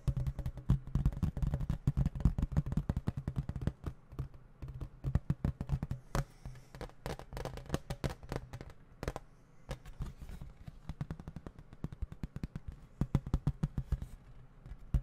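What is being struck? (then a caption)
Plastic video game case. Fingertips tap rapidly on the front and edges of a small, flat, hollow plastic video game case with a printed cover, held up close to the microphone. Dozens of short, dry, hollow taps come in fast irregular bursts, with a deep, muffled low-end thump and almost no bright ring.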